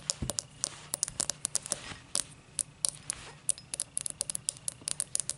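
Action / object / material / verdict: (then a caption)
tap / thick cut crystal glass tumbler base / crystal glass / none. Long matte black nails scratch and tap the thick star-cut base of an empty tall cut crystal glass tumbler. Quick, dry, bright clicks and taps come in an irregular patter over a soft scratching hiss. Each tap dies away almost instantly, with no ringing.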